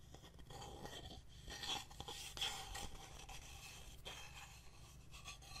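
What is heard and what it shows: Fingernails tap and scratch a painted solid wooden heart plaque with wooden buttons, held in the hands. Quiet, bright rasping scrapes mix with soft, irregular taps over a steady low rumble.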